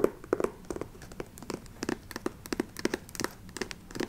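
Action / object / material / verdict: tap / patent leather ankle boot / patent leather / none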